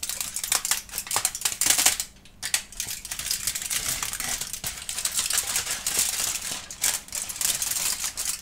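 Fingertips of both hands crumple and crinkle a large, thin, loosely wrinkled aluminum foil sheet held on a table while a kitten watches nearby without touching it. Dense, bright crackling and crisp high crinkles run almost continuously, with a brief quiet pause around two seconds before the rustling resumes.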